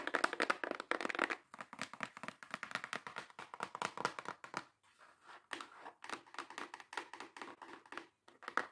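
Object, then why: Small cardboard box. Long acrylic nails tap and scratch fast and hard on a small, hollow brown kraft cardboard box. The result is a dense run of short, dry clicks and scrapes with a bright, papery edge, and no ring after each hit. There are a few brief pauses around 4.7 and 8.4 seconds.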